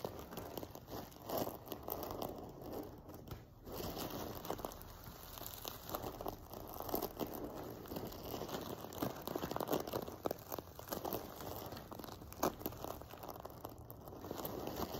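Fingers and nails scratch and brush across the rows of a silver sequin-covered fabric pillow resting on a table. The result is a steady, dense stream of crinkly, rustling scratches with small bright clicks and occasional louder crackles.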